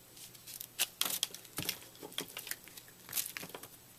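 A utility knife blade cuts and scrapes a fist-sized block of white soap, puffed up in a microwave into a brittle, porous foam and held in the hand, breaking it into crumbs. Dry, bright crackling and crunching bursts come in an irregular series, each dying away almost at once. Quieter scratchy scraping fills the gaps between them.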